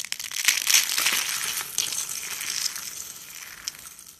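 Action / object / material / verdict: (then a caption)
scrape / soap curls and flakes / soap / none. Dry, brittle white soap curls, a spiral and flakes, are pressed with the palm and crushed in the hand. A dense, bright crunching crackle is loudest in the first second, then thins and fades, with one sharp crack near the end.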